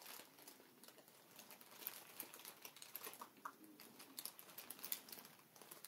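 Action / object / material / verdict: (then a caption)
scrape / inflated plastic air pillow packaging / plastic / none. Fingertips and nails press, tap and scratch a strip of clear, hollow, air-filled plastic cushion packaging lying on a table. It gives a quiet, steady stream of soft crinkling and bright little ticks with no deep tone, each tap dying away almost at once.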